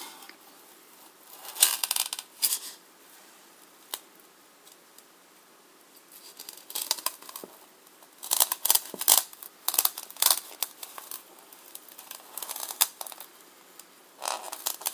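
A hand-sized solid white polystyrene foam block is held in one hand and sawn and scraped with the serrated edge of a large black knife, with pieces falling onto the table. Bursts of bright, hissy, squeaky scraping come in uneven clusters between quiet pauses, with almost nothing in the low range.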